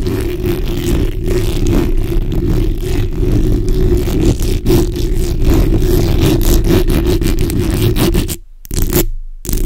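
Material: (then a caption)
Metal mesh. The backs of long nails scratch and rub across a black hollow metal mesh microphone grille. This makes a dense, continuous scraping rustle that is heavy in the low end, with a steady hum-like band underneath. The sound holds at a near-constant level until two brief silent gaps cut in near the end.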